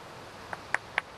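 A fresh nodule of flint from a cliff is tapped four times, giving short, bright, crystal-like clicks with ringing tones around 1–2 kHz that die away almost at once. The clear ring shows a sound piece with few flaws that would cause problems when knapping.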